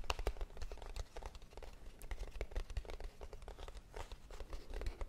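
Long nails tap and scratch a small, closed, hollow kraft cardboard box held up in the air. The result is a steady run of quick, dry taps with a hollow low thump, mixed with crinkly scratching and bright clicks.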